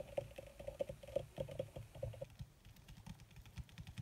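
Long red nails tap rapidly with their tips on a crumpled black leather (possibly faux) sheet. The result is a quick, quiet run of dry, clicky taps, some with a hollow tone around 550 Hz in the first half. The taps grow softer and more scattered toward the end.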